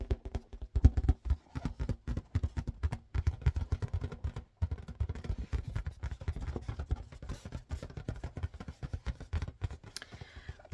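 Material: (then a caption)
Latex. Fingers tap rapidly on a yellow marble-pattern latex balloon inflated with a balloon pump. The result is a fast, steady stream of soft, dull, low thumps with almost no ring, pausing briefly about midway before continuing.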